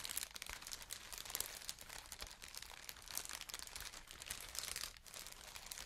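A large sheet of translucent green plastic air-cushion packaging, made of hollow, air-filled pillows, is squeezed and crinkled by both hands with long painted nails. The result is a steady, bright crinkling and crunching texture made of many quick, sharp crackles, with little low-end weight.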